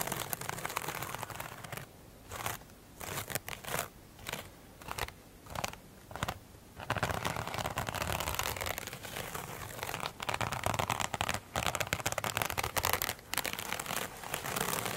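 Long pointed nails scratch across the glittery top of a single soft, solid rectangular foam sponge covered in iridescent glitter beads, lying flat on a glossy table. Short, separate bursts of dry, crinkly scratching give way after about seven seconds to a steadier stream of bright, crackling strokes with a few brief pauses.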